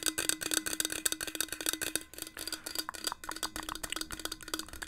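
A hollow, marble-pattern stainless steel insulated water bottle with a metal cap is held in the hands and tapped with long nails and fingertips. The result is a rapid series of short, crisp, bright clicks and taps with a faint hollow metallic tone underneath. Each tap dies away almost instantly.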